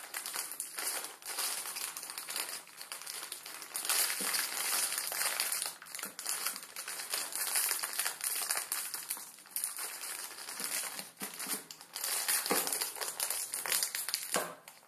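A full plastic-film ramen noodle packet is picked up and squeezed with the fingers, then pressed on a wooden table, crushing the noodles inside. The result is a steady stream of bright, dense crinkling and crackling that swells and eases in waves, with almost no low end.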